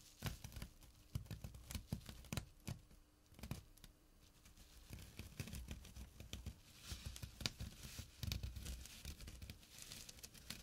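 Short nails scratch the coarse fabric near the edge of a small, flat burlap drawstring pouch. The result is a series of dry, rough rasping strokes and crinkly bursts with a soft, low-heavy body and bright scratchy edges. It plays quietly over a faint, steady low hum.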